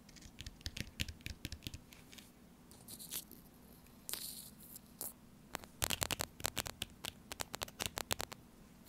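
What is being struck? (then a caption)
Laminated foil-plastic food pouch. Fingertips and long nails tap and scratch the printed front of a small, sealed, full laminated foil-plastic tuna pouch resting on a placemat. Dozens of sharp, dry, crinkly taps sound in uneven bursts, with brief scratchy rasps and a short bright swish between them. Each tap stops dead with no ring, over a faint low hum.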